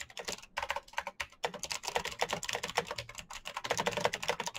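Fingertips type fast on the clicky switches of a black plastic mechanical keyboard. A dense stream of sharp, bright clacks runs throughout, with short pauses near the start. Each keystroke dies away almost instantly.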